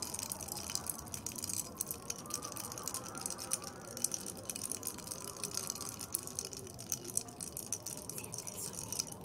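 Long red acrylic nails tap and scratch the outside of a tall clear glass tumbler, partly filled with dark cola and ice cubes, standing on a white plate. Quick, bright clicks and scrapes come in a steady, dense stream, with ice clinking softly inside the glass. The sound stays quiet throughout, and each tap dies away almost instantly.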